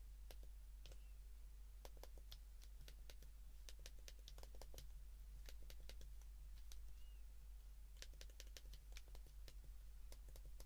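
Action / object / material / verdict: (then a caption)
tap / plastic flip phone keypad / plastic / none. A white plastic Japanese flip phone is held open in both hands while its rubbery plastic keypad buttons are pressed rapidly with thumb and fingertips. Quiet, crisp, bright button clicks tap out in an irregular stream over a steady low hum, with a couple of faint short tones between them.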